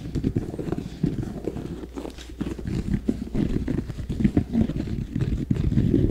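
A hollow, empty red, black and white high-top basketball sneaker, apparently with a leather upper and rubber sole, is held beside an ear-shaped binaural mic and tapped and scratched with fingertips and nails. The result is a steady stream of soft, muffled, low, thumpy taps and dull scratching, with quick dry hits that die away almost instantly and little brightness.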